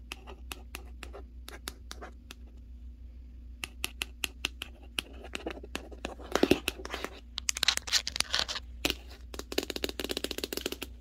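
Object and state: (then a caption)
Cardboard box, hollow. Long nails tap and scratch the top panel of a large, hollow cardboard Hisense TV box. Sharp, bright clicks with almost no ring come in quick runs, broken by rougher scratching bursts. A low steady hum sits underneath.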